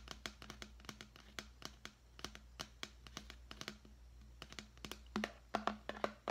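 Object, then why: Clear plastic deli container. Fingernails tap and scratch a large, clear, hollow, empty plastic deli container held in the hand, making a quick run of about thirty light, crisp clicks with a faint hollow ring near 215 Hz. The taps fade almost instantly, and the final second brings louder, rougher scratching bursts.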